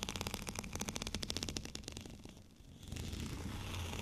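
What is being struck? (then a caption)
Textured plastic rolling pin. Fingernails scratch a white, bumpy, textured plastic rolling pin, making a rapid series of crisp, bright scratching strokes over the first two seconds. The sound briefly dips, then gives way to a steadier, continuous rasping scrape with a low rumble underneath.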